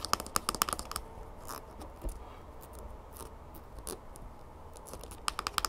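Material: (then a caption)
Plastic. Long green-painted nails tap and scratch the sides and orange cap of a mid-sized, hollow, bear-shaped plastic squeeze bottle of honey that is mostly full. Fast runs of sharp, bright clicking taps with a slight plastic ring near 1.2 kHz open and close the clip. Between them is a stretch of softer, dry scratching and scraping with a few isolated taps.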